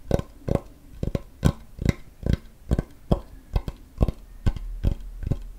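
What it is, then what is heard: Wooden cutting board. A large, flat, solid wooden cutting board held close to the microphone is tapped with fingertips and nails, the hand lifting between taps. The result is a steady series of short, dull, deep knocks, roughly two per second, each dying away almost instantly with a faint bright click on top.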